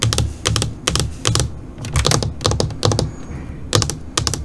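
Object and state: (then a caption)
LCD computer monitor screen tapped with fingernails. Long, pointed purple nails tap quickly on a flat black LCD computer monitor screen, first with both hands and then with one hand continuing alone. The result is short, bright clicking taps in quick clustered bursts over a low, hollow thud from the screen, each tap dying away almost at once.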